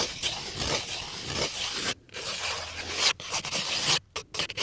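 A small, hollow brown cardboard crayon box held in one hand is scratched and scraped with fingernails. The sound is a dense, bright, dry rasping scratch with little low end, broken by brief silences near 2, 3.1 and 4 seconds before the scraping resumes in short bursts.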